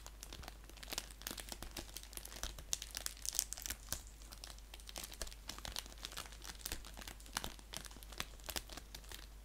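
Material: Paper, plastic.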